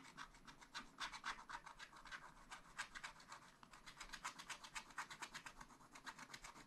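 A wooden stylus held in the fingers scratches away the black coating of a spiral-bound scratch-art pad, black over colored foil paper, lying flat. Quick, dry, papery scratching strokes repeat at roughly four per second, each a short bright rasp with almost no low end.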